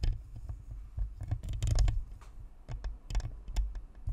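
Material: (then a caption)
Plastic. Long fingernails on both hands scratch and tap along the sides of a white, hollow, spherical plastic Blue Snowball USB microphone, near its metal grille. The result is a series of irregular, short, dull low thumps and rumbles, with bright, crackly scratching clicks on top.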